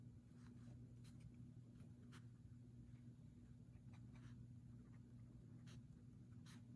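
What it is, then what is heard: Pen writing on a paper notebook page. A fountain pen writes continuously on a paper page of a leather-covered journal lying flat on a wooden table, while the other hand holds the page. Soft, bright nib scratches rise over a steady low hum that stays quiet throughout. An open printed book beside it stays untouched.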